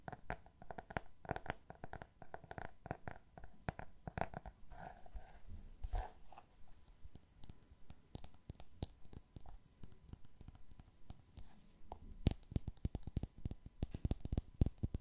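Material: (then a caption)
Cardboard. Fingernails tap and scratch across the cover and edges of a solid cardboard hardcover book, making a quiet, steady stream of quick, dull, low taps with very short decay and soft scratching between them. Near the end, the taps grow sharper and louder.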